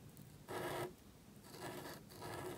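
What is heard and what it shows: A calligraphy pen nib scratches across a small, thin black cardstock card resting on a table while writing. Dry, papery scratching strokes come in bursts, with a faint steady hum underneath between them.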